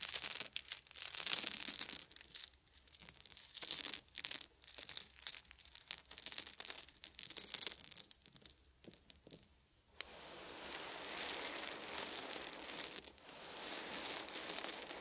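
Hands scoop up small solid wooden beads and let them fall in bright, bursty clattering rattles for about ten seconds. Fingertips then rub over the pile, giving a steady, hissy rustle that is mostly high and crisp with almost no low end.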